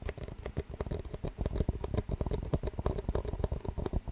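Fingertips tap the walls of two identical clear disposable plastic cups with green rims, hollow and empty, and the rims are knocked together. The result is a rapid, uneven stream of short, dry taps and light clicks with a dull, low body and no ringing, continuing steadily for about four seconds.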